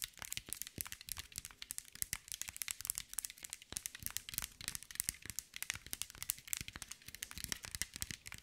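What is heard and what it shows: Long white nails tap and scratch across a hand-sized green mirror and glass mosaic ball. The result is a dense, continuous stream of quick, bright clicks and crisp scratching ticks, with almost no low end and no ring after each hit.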